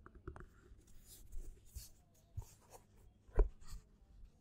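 Fingernails scratch the side edge and spine of a black paperback book with a textured cover, then move to its front cover while the book is held. The result is a series of quiet, dry scratches and soft ticks, each dying away almost at once, with a brief sharper scrape near the end.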